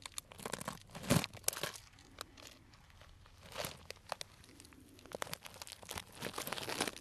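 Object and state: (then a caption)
Cellophane bag of dried tea. A small, tied, clear plastic cellophane bag full of dried tea pieces is slowly crinkled and squeezed with the fingertips. Soft, bright crinkles and dry crunches come in short bursts with quiet gaps, growing denser and more continuous toward the end.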